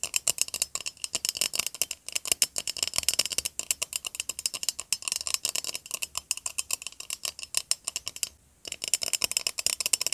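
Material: Metal.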